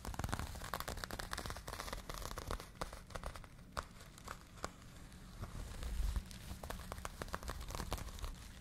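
Long nails scratch and fingertips rub the textured knit of an empty, hollow pink cotton crochet yarn bag held in both hands. The result is a continuous stream of soft, dry crackling and rustling scrapes with many quick sharp ticks, over a low, muffled rumble.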